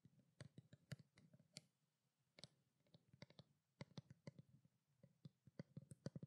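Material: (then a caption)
Plastic. Long black nails rapidly tap a small, hollow white plastic skincare water bottle. The result is quick bursts of short, dry clicks with a low hollow body and bright ticking edges. Brief quiet pauses separate the bursts.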